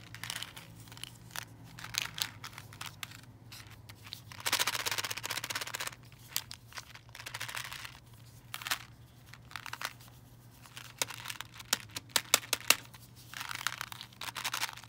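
A fingernail taps on a clear plastic candy-cane tube full of coated chocolate candies, making sharp, bright clicks. At times the tube is tilted so the candies rattle and slide inside in dense, hissy bursts. A faint steady low hum runs underneath throughout.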